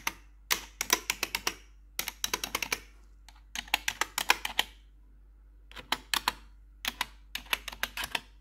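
Metal claw nails tap across the keys of a black plastic RGB computer keyboard in quick bursts of sharp, bright clicks separated by short pauses. Each tap is brief and dry with almost no low end.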